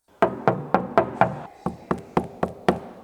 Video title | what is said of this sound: The BEST Sounding PORSCHE 996 in the WORLD? - Bespoke Audio Build By Cambridge Car Audio | So as you can hear, this door has no sound deadening. It sounds tinny and we don't like all of that.